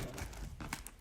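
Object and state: Crisp, well-baked baguette crust.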